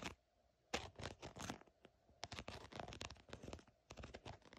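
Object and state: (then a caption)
Faux snakeskin leather surface. A long painted fingernail or thin pointed tip scratches and taps across the raised scales of a green, glossy, embossed faux snakeskin surface, possibly a synthetic leather bag or wallet. It makes a rapid series of short, dry, crackly scratches with a bright, papery crunch, after a brief quiet pause near the start.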